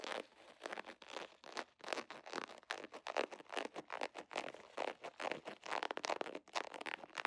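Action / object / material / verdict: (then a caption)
scrape / vinyl zipper pouch / vinyl / none. Fingernails scratch and crinkle a soft, hollow holographic vinyl zipper pouch with an iridescent scale pattern. The result is a fast, uneven run of dry, crinkly scratching bursts, bright and papery, with no low end and no ring between strokes.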